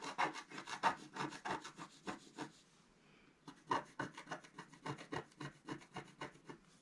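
A thin wooden stylus held in the fingers scratches away the coating of a flat, black-coated scratch-art card page with a colourful underwater motif, lying on a table while the other hand holds the page down. A quick series of short, dry, raspy scratching strokes is heard, with a brief pause midway before the strokes resume.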